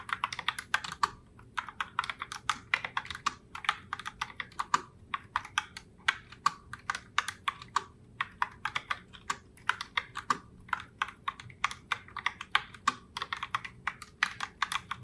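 Long-nailed fingertips type continuously on a pink Logitech Pop Keys mechanical keyboard in the Heartbreaker Rose colorway, with round plastic keycaps. The result is a steady stream of sharp, bright plastic clicks and clacks centered around 1.1 kHz, each dying away almost instantly.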